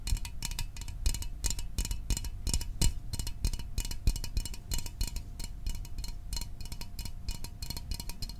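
Fingernails tap quickly and steadily on a small, hollow Fanta orange aluminium drink can held in the hands. Each tap is a short, bright metallic tick that dies away almost instantly, over a low, dull thud and a faint steady ringing tone.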